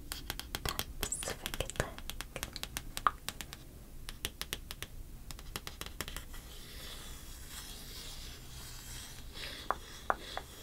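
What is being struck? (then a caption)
Stack of coated-paper trading cards. Long dark-painted fingernails scratch and rub across the surface and edges of a small stack of coated-paper Pokemon trading cards held in one hand. Quick, sharp clicking scratches fill the first six seconds, then give way to a soft, steady rubbing hiss with a few brighter taps near the end.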